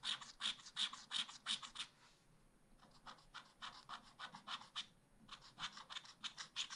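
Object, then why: Wax-coated scratch art paper scratched with a wooden stylus. A wooden stylus scratches lines into the cone drawings on the lower part of a scratch art pad page with a black wax coating. Quick, bright, dry scratching strokes come in rhythmic bursts with brief pauses between them, each stroke short with almost no low end.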